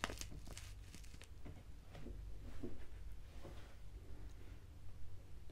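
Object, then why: Foil-lined paper tea sachet. A small, flat, foil-lined paper sachet of Assam Breakfast black tea is crinkled and scratched with long nails, and may be torn at the edge. Quiet, dry crinkling and scratchy rustles come in short bright bursts over a steady low hum.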